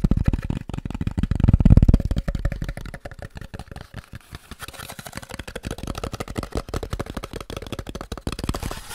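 A small, hollow, white polystyrene packaging box is tapped and scratched with fingertips and nails. It gives rapid, irregular, dull hollow taps with little ring, loudest around the second and a half, then settling into softer, quicker tapping mixed with light scratching.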